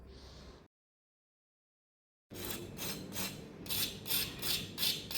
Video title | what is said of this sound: सर्वांच्याच आवडीचा एकच र्बेकफास्ट 🤗 , बनवायलाही खूप सोप 💁‍♀️ | आवाज पण त्याचा खरखर असं कुरकुरीत आवाज येतो